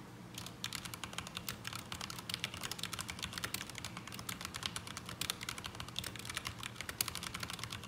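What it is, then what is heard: Mechanical keyboard with ABS plastic keycaps. Both hands type with their fingertips on a black mechanical keyboard with ABS plastic keycaps resting on a desk mat. Rapid, continuous clicking keystrokes with bright, sharp clacks that die away almost instantly over a low steady hum.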